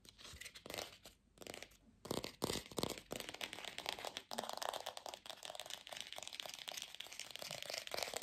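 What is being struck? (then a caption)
Artificial plastic apple. Long pink fingernails fast-tap and scratch a glossy red artificial apple with a stem, likely hollow plastic. The result is a quiet, dense stream of crisp, dry clicks and scraping crackles, bright with little low end and no ring. Brief pauses in the first two seconds give way to steady, continuous tapping.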